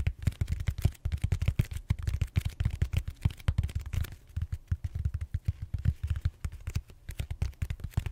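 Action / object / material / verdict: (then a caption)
tap / foam roller, styrofoam / styrofoam / none. Fingertips tap and scratch the surface of a large, solid purple styrofoam foam roller held horizontally. A rapid, uneven stream of dull, low, deep thumps dies away almost instantly, with faint bright scratchy texture between them.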